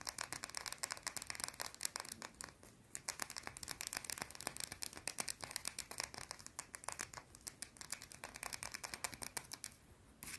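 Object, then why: Small round bar of soap. Long blue nails scratch a small, round, solid white soap bar fast and aggressively, producing a rapid run of dry, crisp scrapes and clicks that are bright and high with almost no low end. The strokes come in quick bursts, with short lulls around three seconds in and near the end before a final scrape.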